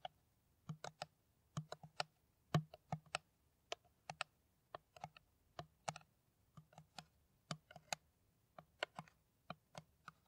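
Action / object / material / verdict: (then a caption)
tap / plastic PET water bottle / plastic / none. An empty, hollow, clear plastic PET water bottle, held cap-end forward, is tapped with long nails in quick, irregular bursts. The sharp, dry clicks die out almost instantly, each with a faint low hollow tone underneath, and they sound much like typing on a keyboard.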